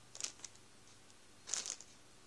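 Fingertips rub the plastic of a full Warburtons bread roll bag, then the hand moves away. Two short, quiet bursts of bright, crisp crinkling are heard, one near the start and one later, separated by near silence with only a faint low hum.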